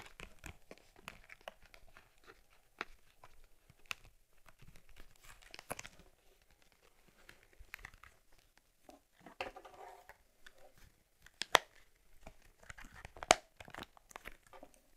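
Long nails and fingertips tap and rub the surface of a closed, stiff brown cowhide leather case with metal rivets holding an Argus C3 camera. Irregular dry clicks and sharp taps mix with soft crinkly creaking of the leather, mostly in the mid and high range. The sounds come in scattered bursts with short pauses between them.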